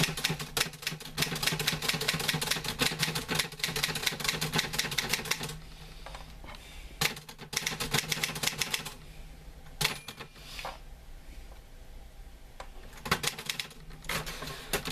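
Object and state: Metal manual typewriter.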